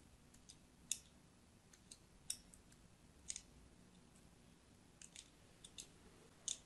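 A thin blade scores lines into the surface of a solid, palm-sized, orange-and-white striped soap bar held in the hand, in a scratching and cutting action. About eleven short, crisp, bright scratchy clicks sound with quiet gaps between them. Each one is dry, with almost no low end and no ring.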